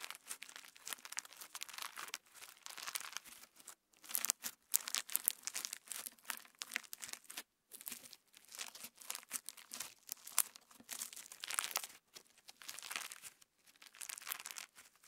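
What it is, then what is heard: Clear slime with plastic sequins. Fingertips spread clear slime with plastic star sequins flat on a wooden table, then fold and squeeze it. The result is a steady stream of bright, crackly crinkling and tearing sounds with almost no low end, broken by brief quiet gaps.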